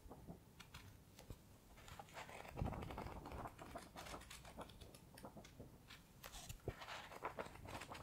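Fingers quickly riffle and flip the paper pages of a thick paperback book held in the hands. The clip is a quiet, irregular stream of crisp papery flicks and rustles, with occasional sharper snaps standing out against a soft low rumble.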